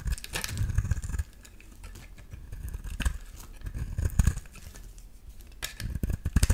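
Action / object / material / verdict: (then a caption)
scrape / soap bar shaved with a metal blade / soap / none. A solid yellow oval bar of soap, held in the hand, is shaved with a metal utility-knife blade. Dry, crackly scraping strokes come in bursts with soft low thumps, louder at the start, around the middle and at the end, with quieter rustling between.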